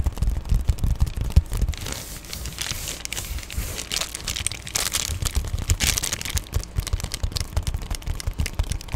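Fingernails scratch and tap on the crinkled plastic of an Amazon Prime padded poly bubble mailer, close up. Quick dull taps thump low under a dense, bright crinkling and scratching, with louder crackly bursts in the middle and near the end.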